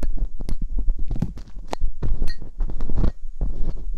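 Metal dental picks scratch inside the ear canals of silicone ear molds on a binaural microphone. Close, muffled scraping and rubbing comes in a dense run of short, bassy thumps and rustles, with occasional brighter ticks as the metal catches.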